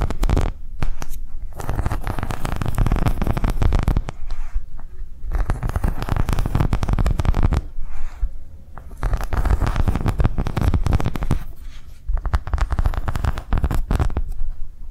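A round green silicone coaster with concentric ridges and a crinkled rim is lifted and scratched along its ridges with long nails. Dense, rapid rasping scrapes come in bursts of a few seconds, separated by brief quieter pauses. The sound is heavy in low rumble with a dry crackle on top.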